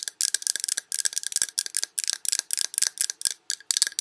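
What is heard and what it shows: Long red nails tap around a large glass Yankee Candle jar with a paper label, full of wax. Quick, bright clicks come in dense bursts with short pauses, each tap dry and sharp with almost no ring or low end.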